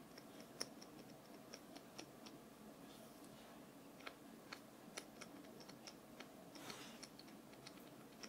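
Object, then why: Small wooden nail brush. A small solid wooden nail brush held in one hand is tapped on its wooden back with long painted fingernails. About 21 quick, quiet ticking taps are heard, each bright and sharp with almost no ring, over a soft steady hiss.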